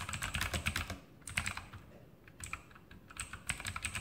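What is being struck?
Mechanical keyboard with plastic keycaps.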